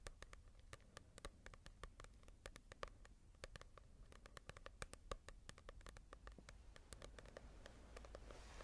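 Long nails tap and scratch the glossy cover of a small, solid paperback manga volume. The result is a quick, irregular run of sharp, dry clicks with very short decay, over a soft scratchy rustle and a low background hum.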